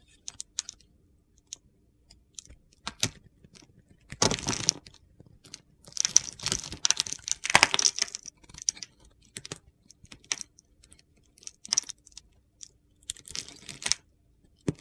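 A utility knife blade carves and scratches small cubes and flakes off a solid pale blue bar of soap held in the hand. The sound is dry, bright scraping and crisp ticking crunches, with short bursts and denser stretches of carving.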